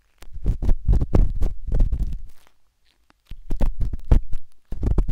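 A metal-tipped dot stick with a wooden handle scratches inside the soft, hollow canal of a pinkish-white silicone binaural microphone ear. Rapid, deep rustling scrapes and thumpy rubs come in two dense bursts, separated by a brief quiet pause.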